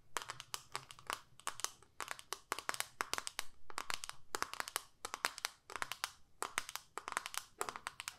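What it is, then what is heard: Plastic eyeshadow palette. Long nails tap and scratch the surface of a small plastic eyeshadow palette with a clear lid showing the pans. Quick, bright clicking taps come in clustered bursts over a faint low rumble, each tap dying away almost instantly.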